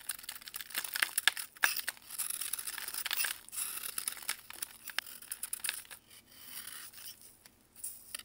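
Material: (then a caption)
Baking soda. A metal knife carves and scrapes powdery flakes off a large, solid white block of pressed baking soda held in blue gloves over a plastic tray. Dry, bright scraping and crunchy crackles come in irregular bursts with quick clicks, fading to softer scrapes toward the end.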